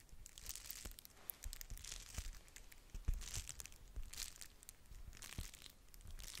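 A flat pink-red plastic bubble-wrap padded mailer envelope is scratched and tapped across its bubbles with long nails, crinkling it. Soft bursts of bright crinkling swell and fade over low thumps, with sharper taps standing out along the way.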